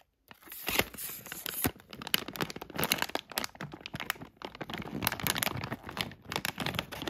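A thin plastic Plackers dental flossers bag full of floss picks is held, crinkled and scratched with a black tweezer tool, then turned to the back. It makes a steady run of bright, crackly crinkles and sharp scratching ticks with very short, dry decays. The sound is mostly high in tone with little low end.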